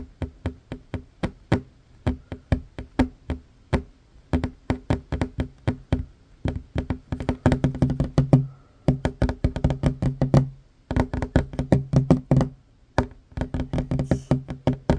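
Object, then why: Wooden tabletop. Short fingernails of one hand tap fast on a worn wooden tabletop, a large solid surface. The result is a rapid run of dry, low, knocking taps with very short decay, coming in quick bursts with brief pauses near 11 and 13 seconds.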